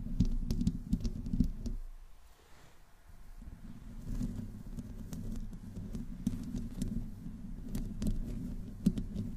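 Long painted nails on both hands slowly scratch the hollow metal mesh grille head of a black USB condenser microphone. The result is a dense, muffled, low rumbling scratch scattered with sharp, bright clicks and taps. The sound drops briefly quiet near the two-second mark before the scratching resumes.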